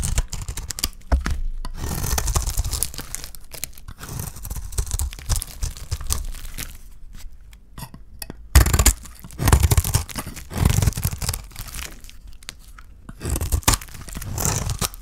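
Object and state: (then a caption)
Dry soap bar being cut. A solid, hand-sized, rectangular olive-green bar of dry soap, held in one hand, is scraped and cut with a metal knife blade so that curls and shavings peel off. Dry, crunchy tearing and scraping strokes come in bursts, with heavy low-end thuds and brief bright crackle.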